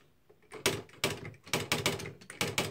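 Fingertips of both hands type fast on the plastic keys of a beige, plastic-bodied Smith-Corona Mark V electric typewriter with a hollow housing and paper loaded. Irregular bursts of bright, crisp clacks mix the key taps with the snap of the internal strike mechanism, each dying away quickly.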